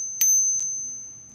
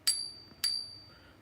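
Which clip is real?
The second.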